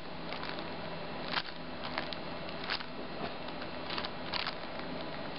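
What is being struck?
Sticker sheet in a plastic sleeve.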